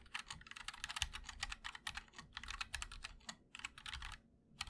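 A compact mechanical keyboard with a black aluminum case and white and black plastic keycaps, a MOD-L with linear switches, is typed on steadily by two hands using fingertips. It produces a dense stream of crisp, bright key clicks with short pauses and a faint low thud beneath.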